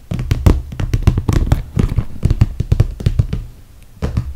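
Long red fingernails tap and scratch along the top edge of a clear, soft PVC plastic toiletry bag filled with cosmetics. A quick, uneven run of dull, low plasticky thumps and crinkly clicks fades out briefly, then picks up again at the end.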